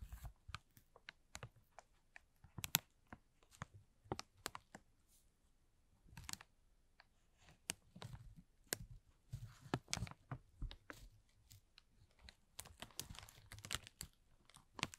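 A thin, transparent, hollow and empty plastic film bag is scratched and crinkled with the short fingernails and fingertips of both hands. Sharp, bright crackles and scratchy crinkling come in quick irregular bursts, with quieter soft rustling between them. Each snap dies away almost instantly, and the whole clip stays fairly quiet.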